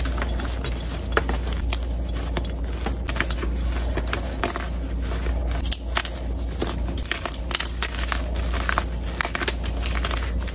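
White, solid and powdery gym chalk blocks (magnesium carbonate) are crushed and crumbled between the fingertips and palms of two hands with long red nails, resting on a dark surface covered in chalk powder. Dense crackling, crumbly crunches and soft rubbing run throughout, with sharper snaps scattered among them over a steady low hum.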